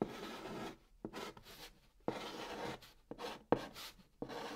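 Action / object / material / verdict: scrape / chalk stick on a cardboard box lid / cardboard / none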